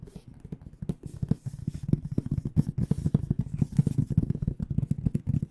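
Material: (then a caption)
Aluminum. An AKG microphone hard case with an aluminum frame and black panels, hollow and held upright, is tapped and lightly scratched across its front panel with long dark-painted nails. Rapid, dense, low hollow taps around 150 Hz come with faint scratchy brushing between them. The taps stop short with almost no ring.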